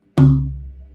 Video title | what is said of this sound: Saddle Intonation, Chladni Patterns and More - Guitar Making Q&A | if I take the hammer and I hit it in the center, it reads out 66 hertz